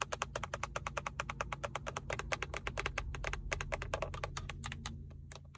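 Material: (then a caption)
Plastic. Long acrylic nails tap and scratch the textured black plastic center airbag cover of a Toyota steering wheel with a chrome emblem, using both fingertips and nail tips. A fast, steady run of short, dry, bright clicks plays over a low background hum, each tap dying away almost instantly.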